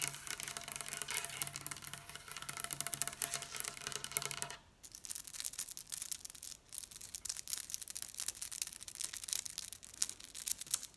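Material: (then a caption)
Wood. Long pink acrylic nails tap a large, solid dark-wood tabletop, first as rapid, dense clicking from the fingertips of both hands, then with a single fingernail. The taps are sharp, dry and bright, with almost no low end, and they fall in quick, uneven flurries. A low steady hum sits under the first part and drops away at about 4.6 seconds, when the tapping thins to the single nail.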